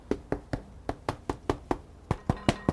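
Twelve quick, dull taps knock on a freshly baked French bread loaf, each a short, low thump that dies away almost instantly. The loaf sounds solid and is finished, with an internal temperature of 196°F confirming it is done.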